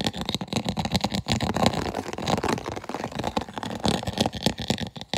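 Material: Plastic.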